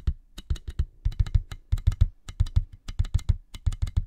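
Fingertips and nails tap quickly on a clear, inflated plastic air-column cushion bag, hollow-tubed packaging held in both hands over the mic. About two dozen short, dry taps come in an uneven rhythm, each a soft low thump with a bright clicky edge that dies away almost at once.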